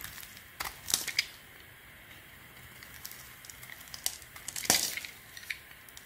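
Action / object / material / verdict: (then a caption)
scrape / bar of soap carved with a small knife / soap / none. A palm-sized solid beige Weleda bar of soap, held in the hand, is carved and scraped with a small metal knife blade as shavings fall off. Quiet, dry, bright scraping and crackling clicks come in short bursts, with a louder cluster around the first second and the strongest scrape near the end, over a faint hiss between cuts.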